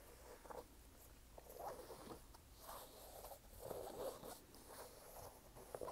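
A red canvas low-top sneaker with a white rubber sole, hollow and empty and held up in the hand, is tapped and scratched on its canvas upper by fingertips and nails. The result is a series of soft, dry scratching and rubbing bursts with a papery, mid-range texture and a faint high hiss, each dying away almost at once.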